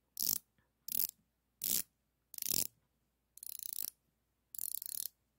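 A chrome-plated steel ratcheting combination wrench with a flex head, solid metal and about 20 cm long, is held in both hands and its ratchet head is worked back and forth. Six separate bursts of rapid, bright pawl clicking come through. The last two bursts are longer, with the individual clicks more distinct.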